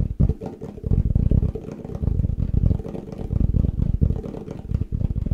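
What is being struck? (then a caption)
Plastic food container. A plastic Tupperware food container is tapped fast and aggressively. The result is a dense, rapid stream of dull, hollow, low-pitched thumps with almost no ring, rising and falling in loudness in waves.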